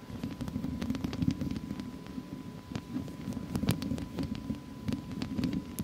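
Long acrylic nails scratch and tap across a hollow wire-mesh metal microphone grille with both hands, fingers staying on the mesh. Dense, irregular clicks and scrapes ring briefly over a low, throbbing rumble centered in the lows, with sharp bright ticks scattered throughout and a faint steady hum.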